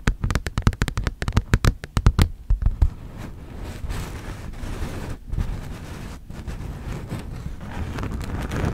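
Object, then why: Thin textured plastic folder. A thin red textured plastic folder, held upright and slightly bent, is tapped and scratched by both hands with long nails. A quick run of sharp, dry taps fills the first three seconds, then gives way to a steady, gritty scratching that carries on to the end, with most of the energy sitting low.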